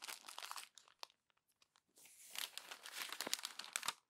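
A hand squeezes and crumples the pages of a glossy paper magazine into a wad. The result is a dense, bright crinkling and crackling with a quieter pause of scattered small crackles in the middle, then a louder burst of crumpling.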